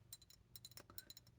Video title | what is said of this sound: ASMR for "weird" people | I like the sound of tapping glass